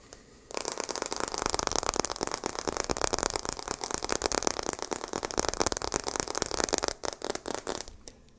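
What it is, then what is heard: Glass back of a phone. Rapid fingertip-style tapping on the glass side of a phone, a dense stream of sharp, crisp clicks with little low end and no ringing. The taps run steadily for about six seconds, then thin out into a few scattered taps before stopping.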